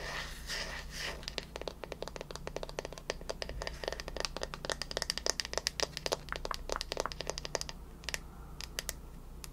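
A bamboo paddle hairbrush is held beside the face while its smooth wooden back is tapped and scratched with long nails. Rapid, sharp, bright clicks crowd over a scratchy, crinkly rustle, with a steady low hum underneath. The taps are short and dry, and the pace thins out toward the end.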